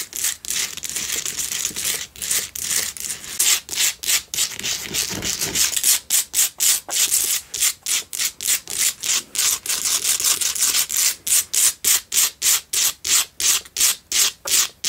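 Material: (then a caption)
Salt. Long nails scratch around the sides of a lit pink Himalayan salt single candle holder for a tealight. The scratching is dry and bright, starting as a near-continuous rasp, then breaking into quick, distinct strokes of about three per second, each cutting off sharply.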